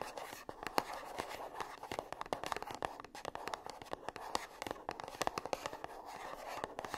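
Long nails tap and scratch the sides of a small, closed, gold-printed cardboard perfume box held upright. Quick, dry clicks with almost no ring overlap a soft papery scratching, centred in the mid range around 850 Hz with only faint bass. The taps stay quiet and close throughout.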